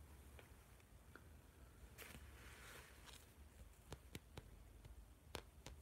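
Fingertips and nails tap and scratch the cover of a large blue spiral-bound notebook with a metal spiral and a glossy plastic or laminated-card cover, held upright in both hands. Soft, sharp clicking taps sound over a quiet low rumble, with a brief bright scratchy brushing in the middle. The taps grow crisper and more pronounced toward the end.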